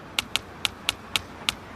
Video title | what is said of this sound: Bill Nye the science guy - Sound | you can hear the tapping through the bricks